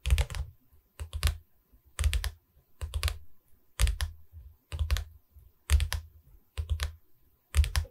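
Fingers tap on a wooden canvas board in nine short clusters of quick taps, about one cluster per second. Each tap is a dull, low thud with a faint bright click and almost no ring. Quiet gaps separate the clusters.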